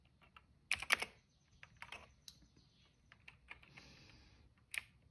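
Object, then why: Plastic mechanical keyboard. Fingertips of both hands type steadily on a cream plastic mechanical keyboard with a hollow case and black and purple keycaps. The keystrokes are bright, crisp clicks that die away almost instantly. A loud cluster comes near the start, softer taps are scattered through the middle, and one sharp keystroke lands near the end.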